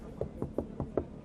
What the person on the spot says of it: Escuchad esto. Esto no suena a metal, y es que el techo del Urus Performante también puede ser de fibra de carbono.